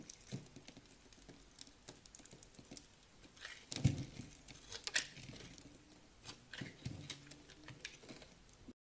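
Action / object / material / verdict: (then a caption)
scrape / bar of soap scraped with a knife / soap / none. A utility knife scrapes across a solid, pale green bar of dry soap, pre-scored into a grid and held in the hand, breaking off small crunchy cubes and shavings. The result is a quiet, irregular patter of dry crunches and scraping, with a few louder, sharper cracks partway through.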